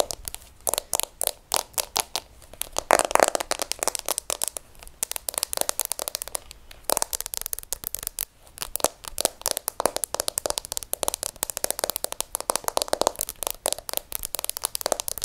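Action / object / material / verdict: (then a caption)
tap / smartphone in a plastic case with glass screen / plastic / none. Long acrylic nails tap and scratch quickly across the back and edges of a hand-held, hand-sized smartphone in a transparent rose-tinted plastic case with a glass screen. The result is a steady stream of sharp, dry plastic clicks and brief scratchy crackles, bright and light with almost no low end. The taps sometimes bunch into fast flurries and sometimes thin out into sparser strokes.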